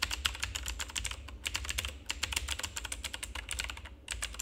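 Fingertips of both hands rapidly press and tap the keycaps of a full-size, backlit plastic RGB mechanical keyboard with a hollow housing. A fast stream of short, bright clicks and clacks is heard, with brief pauses, over a steady low hum. Each keystroke ends almost instantly.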